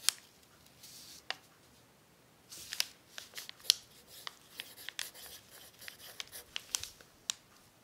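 A pencil tip scratches across a thin, crumpled brown paper sheet on a table during continuous writing. The result is quiet, bright, high scratching and crinkling, broken by sharp, short clicks and rustling bursts at irregular intervals, with almost no low end.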